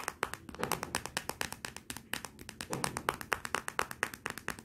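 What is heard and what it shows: Long nails and fingertips tap rapidly on the glossy glass back of a Motorola smartphone lying face down, including near the camera. The taps come in dozens of sharp, bright clicks at an uneven pace, each dying away almost instantly with no ring.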